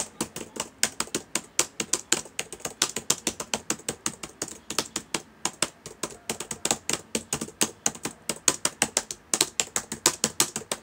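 Fingertips type steadily on the plastic keys of a black laptop keyboard. Around sixty quick, dry clicks follow one another at an uneven pace, each bright and sharp with almost no low end, and each dies away almost at once.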